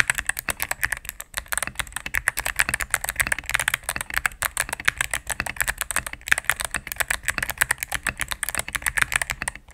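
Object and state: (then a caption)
Mechanical keyboard with plastic keycaps. Fingertips with long nails type rapidly on a mechanical keyboard with all-cream plastic keycaps and a knob, resting on a desk mat. The result is a dense, steady stream of short, crisp clacks and taps with a bright, clicky edge and very little low end, each keystroke dying away almost instantly.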